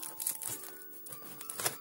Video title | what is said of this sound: Итальянская ЧИАБАТТА- легко и просто приготовить дома | вы слышите как хрустит корочка